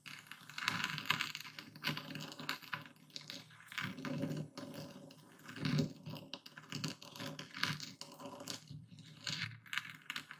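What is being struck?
Coarse epsom salt crystals in a wooden bowl under a stone pestle.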